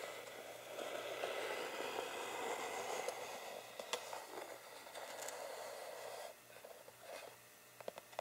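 Fingertips and short nails tap and scratch across the grained lid of a flat, rectangular, hollow wooden tangram box, seen from above, before the hands hold the box edges. A steady, soft scratchy rustle with a mid-pitched woody tone fills the first six seconds. It then drops quieter, with a few sharp, brief taps toward the end.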